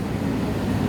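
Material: Nothing is struck.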